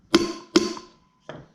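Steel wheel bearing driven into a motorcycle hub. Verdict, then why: Seated. A socket taps a new steel front wheel bearing into a motorcycle hub, giving two sharp metallic taps with a brief ringing tone, then two fainter knocks. The changed tapping sound shows the bearing has bottomed out and is fully seated.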